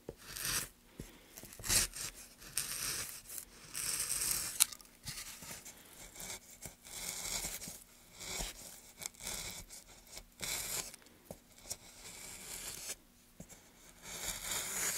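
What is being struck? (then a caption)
Pine wood board carved with a steel gouge. A gloved hand pushes a steel gouge along a groove in a solid, light pine softwood plank, carving and scraping it. The result is a series of bright, hissing, tearing scrapes and short crunchy bursts with pauses between strokes. The sound sits mostly in the high range, with little low end.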